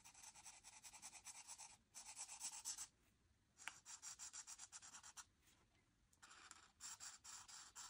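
A marker nib is scratched in dense back-and-forth strokes across a flat white paper coloring sheet, filling in the blue background. The rapid strokes make a crisp, bright, scratchy rasp that comes in several bursts, separated by brief quiet pauses.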